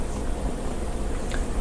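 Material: Nothing is struck.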